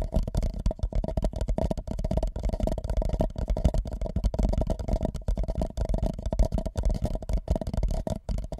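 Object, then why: Empty paper cup over a microphone. An empty white paper cup held over the microphone is lightly tapped and rubbed with fingertips. The result is a steady, muffled stream of soft, deep thumps and hollow rustling, with nearly all the energy low and nothing bright on top. Each tap dies away almost instantly.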